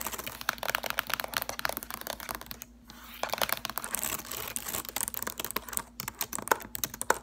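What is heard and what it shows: Long acrylic nails type and tap quickly on the plastic keys of a silver laptop keyboard. The result is a dense stream of sharp, bright clicks with a brief lull near the three-second mark, over a faint steady low hum.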